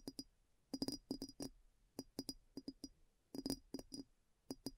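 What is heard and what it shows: Long nails tap the base and sides of a clear glass bowl that sits upside down, hollow and empty, over a recorder on a black table. The taps come in quick bursts, each a short, bright click with a dull tone around 273 Hz that dies away almost at once, separated by brief quiet gaps.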